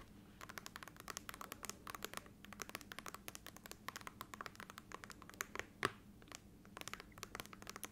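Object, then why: Glass laptop screen tapped with fingernails. Long nails tap and scratch across the glass display of an open laptop with its screen switched on. A quiet, rapid run of dense, short, bright clicks and scrapes over a faint low hum, with one sharper tap near the end.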